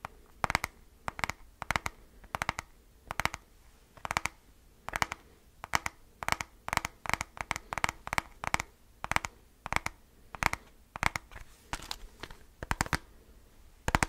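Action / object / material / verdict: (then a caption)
tap / plastic handheld calculator / plastic / none. Fingertips tap and scratch the keypad and top edge of a handheld black plastic graphing calculator with a hollow casing. Quick, dry, bright clicks come in short clusters over a low, quiet hum, with a faint scratchy texture between the taps. Each click dies away almost at once.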